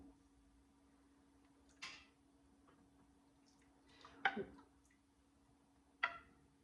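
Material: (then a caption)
Metal. Glass canning jars of waterbath-canned salsa with metal lids cool after processing, and three faint, sharp metallic pings are heard over a steady low hum. The pings show that the lids have sealed properly.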